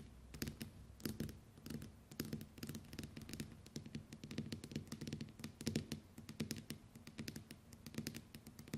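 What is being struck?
Smartphone with glass screen.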